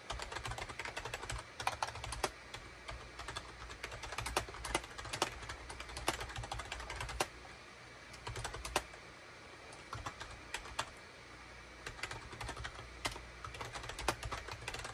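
Fingertips type rapidly on a full-size gray and cream Shipadoo K600 wired USB keyboard, with a hollow plastic case and plastic keycaps, resting on a desk mat. The result is a dense, steady stream of short, bright plastic clicks and clacks, with a few sharper key strikes standing out. A faint low hum runs underneath, and the typing eases briefly around the middle.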